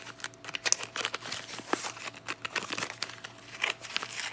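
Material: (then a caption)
Cardboard. Long painted nails and fingertips open and handle the flaps of a small, hollow pink Lux cardboard soap box with a bar inside. The result is a steady run of bright, crisp crinkling and rubbing sounds, with short sharp ticks and scrapes and no low rumble.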